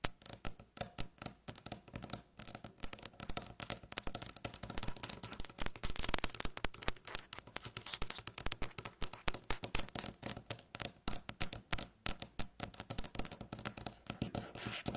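Long natural nails tap rapidly with both hands on a flat, light beige, solid wooden tabletop, giving a dense stream of short, dry clicks and taps mixed with faint scratching. Each tap dies away almost instantly, and the bright clatter holds a steady, fast rhythm throughout.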